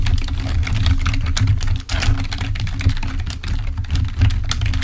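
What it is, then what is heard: Plastic computer keyboard being typed on. Fingertips of both hands type rapidly on a full-size black plastic Microsoft membrane keyboard resting on a table. A dense, continuous stream of short, dry clicks and taps runs over a steady low hum, with only a brief dip in the flow of keystrokes partway through.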